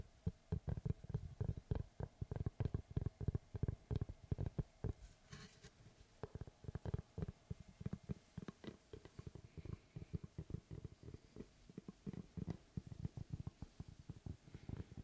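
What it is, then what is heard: Wooden tree slice. Fingertips tap and scratch the face of a large, round, solid wood slice with a bark edge, held in both hands close to the microphone. A quick, irregular run of soft, low, dull thuds with very short decay is heard, mixed with faint scratchy rustling between taps, all at a quiet level.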